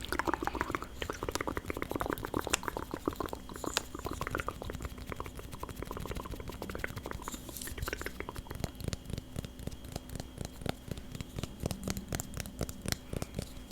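Rapid, steady tapping on the wooden lid of a sweet jasmine candle, a lid that absorbs the candle's scent. The taps are short, dry and crisp, with almost no ring, and run continuously over a faint low hum.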